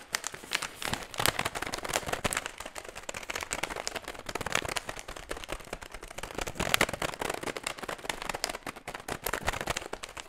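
A medium-sized, empty, crinkly metallized plastic foil chip bag is held in both hands near the mic while ring-wearing fingertips scratch and squeeze it. The result is a continuous stream of dense, bright, crackling crinkles with sharp, dry snaps and no ringing tail.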